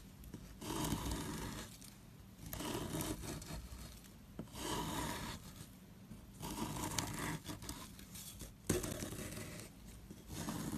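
A small, solid, square soap block with a pink dotted coating is held in hand while a metal tool scrapes off the coating and the crumbly white soap beneath. Repeated rough, gritty scraping strokes rasp across a broad range, separated by short quiet pauses.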